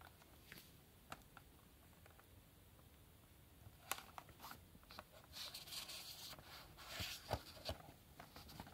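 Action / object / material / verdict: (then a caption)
tap / small cardboard box tapped and scratched with gloved fingertips / cardboard / none. Yellow rubber-gloved fingertips tap and scratch the barcode side of a small printed black cardboard retail box holding a Hellraiser puzzle cube. Quiet, sparse, dry ticks give way after a few seconds to denser, bright scratchy rustling and irregular sharp taps that stop instantly, with no ring.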